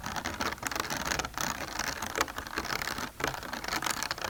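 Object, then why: Bumpy plastic container. Fingernails tap quickly across a bumpy plastic container, making a dense, clicky patter with crisp, bright attacks and almost no ring. The taps run continuously, rising and falling slightly in loudness, with a brief dip near the end before resuming.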